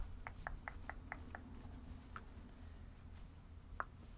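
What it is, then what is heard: Plush stuffed toy. Long red acrylic nails scratch and rub the fluffy synthetic fur of a small, soft, stuffed purple-and-white plush animal held in both hands, with some fingertip patting. A quick, even series of short, soft ticks is followed by a few isolated ones, all quiet over a steady low hum.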